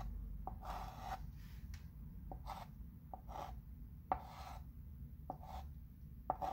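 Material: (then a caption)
Chalk. A light-colored chalk pencil outlines letters on a flat wood-framed chalkboard. Short scratching strokes across the board surface are heard, each opening with a soft tap, over a steady low background hum.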